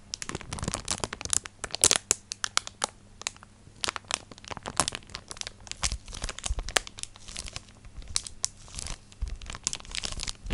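Long nails scratch and crinkle a thin clear plastic packaging sleeve holding a flat white card printed with a dinosaur drawing. Dense, bright crackling and sharp rustling taps come in quick uneven bursts over a faint steady low hum.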